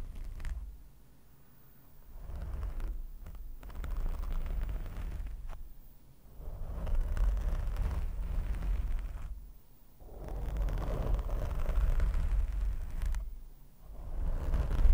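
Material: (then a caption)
Foam. Fingers of both hands scratch the top and sides of a black foam microphone windscreen with short nails. It makes a dense, low, muffled rumbling rustle that swells in waves and drops to near-silence in brief pauses.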